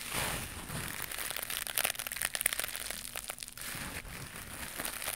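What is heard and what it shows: A small, soft, flexible white knitted mesh scrubber pad is held in both hands near the mic and scratched and squeezed with long pink nails. It gives a dense, bright crinkling and crackling, with quick scratchy bursts that swell in the middle and then ease back to a steady rustle.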